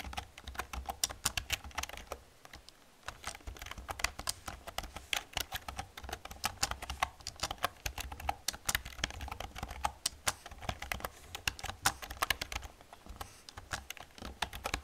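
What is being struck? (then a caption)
Plastic computer keyboard. Fast typing with long painted nails and fingertips on a black plastic computer keyboard with hollow plastic keys produces a rapid, dense stream of short, bright clicks and clacks, pausing briefly near the 2.5-second mark. Each keystroke dies away almost instantly, while a steady low hum runs underneath.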